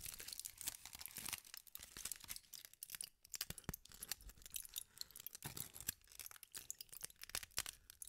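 A crumpled sheet of aluminium foil is twisted, squeezed and crinkled by hand with long nails. It makes dense, bright crackling and crinkling with many sharp, short snaps, mostly in the high range with little low end. Brief quieter pauses break up the rustling throughout.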